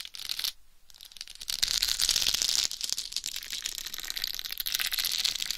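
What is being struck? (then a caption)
Plastic rhinestone-covered microphone cover. Long white nails tap and scratch the sides of a hollow egg-shaped microphone cover covered in pink plastic rhinestones. The result is a dense, bright crackle of tiny clicks and scrapes with almost no low end, pausing briefly near the start before growing louder and continuing steadily to the end.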